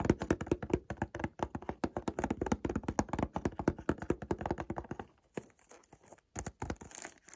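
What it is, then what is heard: Cardboard perfume box. A white Montblanc Presence cardboard perfume box, small and hollow with the perfume likely inside and in a thin plastic wrap, is held in one hand and tapped with the fingertips and short nails of the other. Rapid, dense, hollow taps with short dull thuds run for about five seconds, then give way to sparser, quieter taps and light brushing with a brighter crinkly hiss.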